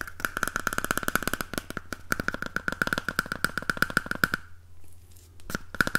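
Fingernails tap and scratch the outer surface of a single empty, hollow cardboard toilet roll tube held upright in one hand. A rapid run of short, dry taps rings with a hollow tone around 1.5 kHz over a steady low hum, then gives way to a brief stretch of softer scratching before a few more taps close the clip.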